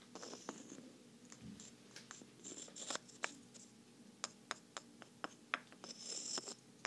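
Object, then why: Small wooden blocks. Small, oddly shaped thrifted wooden blocks are tapped together, making an uneven series of sharp, dry clicks and knocks over a faint rustling hiss. Each tap is bright and stops almost instantly, with no ring.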